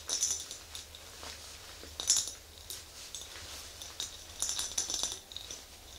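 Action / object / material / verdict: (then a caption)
tap / glass mason jar with metal lid / glass / none. An empty, medium-size clear glass mason jar with a screw-on metal lid is tapped and scratched with long green acrylic nails, then tilted and set upright. Bright, glassy clicks and clinks arrive in irregular bursts over light scratching, with short rings that fade quickly.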